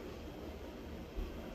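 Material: Nothing is struck.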